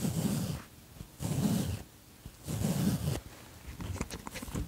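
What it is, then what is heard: Fleece jacket zipper being pulled. Fingers pull the zipper pull of a light grey ribbed fleece jacket up and down, making three long, raspy zipping runs with a low buzzy body and bright edges. The runs are separated by brief quiet gaps, and the clip ends with softer, scattered ticking of the zipper teeth.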